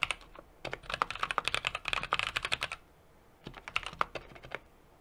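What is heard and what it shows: A 60% mechanical keyboard with an aluminum case, brass plate and plastic keycaps is typed on steadily with the fingertips of both hands. A quick run of sharp, bright clacks with almost no ring fills the first two and a half seconds, then pauses briefly. A shorter, softer burst of keystrokes follows.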